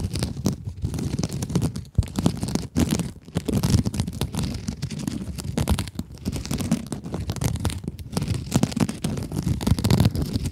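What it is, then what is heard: Mesh scrub sponge. Long acrylic nails scratch a small pink scrub sponge with sparkly glitter mesh. The result is a dense, continuous crinkly rasping with a heavy low rumble, broken by a few brief pauses.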